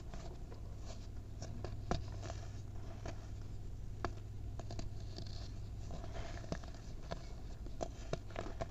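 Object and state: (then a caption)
Baking soda powder being crushed. Fingertips crush and rub clumps of a packed white baking soda mound into powder. Soft, short crunches and gritty scratches sound at irregular intervals over a steady low hum around 105 Hz.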